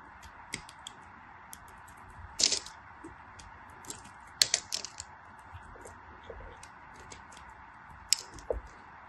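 A small black craft blade scrapes a solid yellow glycerin soap bar held by fingers with white nails, in short scratchy strokes. Brief, bright, crisp scrapes come at irregular intervals over a quiet, steady hiss, with almost no low end.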